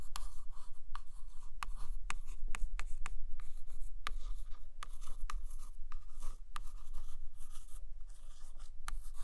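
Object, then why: Hardcover book with glossy laminated cover. A long acrylic nail traces and scratches along the glossy laminated photo cover of a large hardcover book lying flat. Bright, dry scratching strokes are broken by short, sharp ticks at an irregular pace, over a steady low hum.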